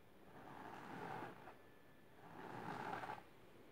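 Long silver-painted nails scratch the fabric surface of a large pink patterned fabric-covered storage box or ottoman, rigid and likely hollow, lying on purple cloth. Two slow, swelling passes of soft, raspy scratching are heard, each building to a brighter, grainier texture before fading into quiet hiss.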